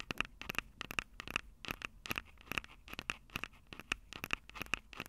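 Long acrylic nails scratch and tap the capsules of a Tascam DR-05 handheld recorder, which has a plastic body and metal mic grilles. Quick, irregular clicks and scratches come close together, each sharp and bright with a faint tone near 2.6 kHz and almost no ring or low end.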